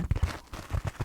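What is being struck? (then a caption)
Dish scrubber sponge. A scrubby kitchen sponge scourer for washing dishes, shaped like a black cat's face, is tapped five times. Each tap gives a soft, dull, low thud that dies away almost at once, with a faint scratchy, crinkly texture between the taps.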